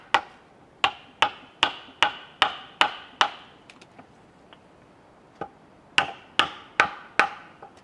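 A chisel is struck with a wooden mallet into a large solid cedar log resting on a sawhorse, splitting off chips. Twelve sharp, bright wooden knocks sound in a steady run of eight, then a group of four after a pause, each with a quick chopping crack and a brief decay, with faint small taps in between.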